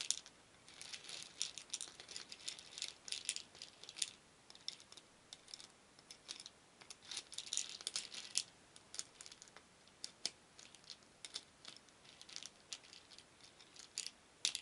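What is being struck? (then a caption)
Small wooden beads in a wooden bowl. Many small painted wooden beads in a shallow wooden bowl are stirred with a wooden spoon, rattling against each other and the bowl. The result is a quiet, dense stream of bright, dry clicks and clatters in uneven bursts, with very short decays and almost no low end.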